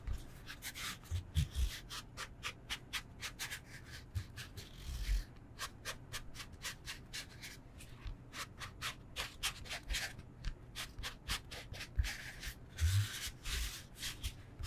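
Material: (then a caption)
Foam. A solid rectangular foam yoga block, held in both hands, is scratched and tapped with nails and fingertips. A steady run of short, dry scratching strokes is heard, with occasional soft, low thumps from the taps.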